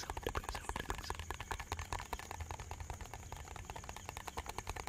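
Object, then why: Small plastic bottle. A small, hollow, white translucent plastic bottle with a cap and a red-and-white label is held in both hands and quickly tapped and scratched with fingertips and nails. The result is a fast, uneven stream of light clicky taps and scratches over a soft, low hollow thump.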